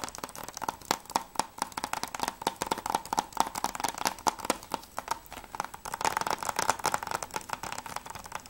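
Fingertips and nails tap rapidly on the front cover of a closed Mirror's Edge PS3 game case, made of hard plastic with a clear sleeve and held in both hands. The result is a fast, steady run of short, dry, clicky taps with a hollow midrange tone and a bright edge, each tap dying away almost at once.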